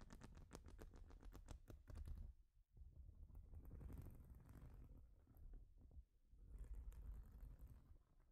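Long nails tap rapidly on a large, flat, plastic Lego-style studded baseplate, then scratch across it in slower, rasping strokes. The sound is close, soft and muffled, with most of its energy in a low rumble, and each tap dies away almost instantly.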